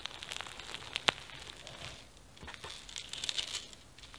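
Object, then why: Foam bead slime. A palm-sized soft mass of pink slime packed with small foam beads and flower sequins is squeezed, kneaded and stretched by fingertips with gold-polished nails. Dense, bright, crunchy crackling bead pops come in quick bursts, with one sharper snap near the start and a quieter lull in the middle.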